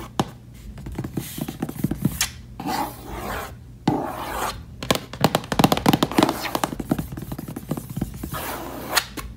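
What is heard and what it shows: Long nails scratch quickly across a hollow, reddish mahogany-finish wooden case lid, then fingertips brush over it. The result is a run of fast, irregular rasping scratches with short, dry clicks and quick decay, mixed with softer brushing swishes in between.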